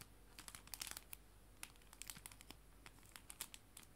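A small clear plastic cellophane bag holding a stack of paper mini art prints is held in both hands with dark painted nails and squeezed and crinkled. It gives quiet, bright, sharp crackles in irregular bursts. A faint white-noise hiss and a ticking clock sit in the background.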